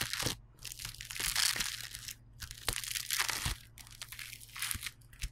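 Yellow polystyrene bead foam clay, flattened on a white table, is pressed, kneaded and rubbed with knuckles and fingertips. It gives off bright, dense crunching and crackling in irregular bursts, with sharp snaps scattered throughout and a faint low hum underneath.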